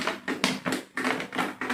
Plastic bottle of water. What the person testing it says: kita isi penuh, lalu kita tekan, kita usik, suaranya nyaring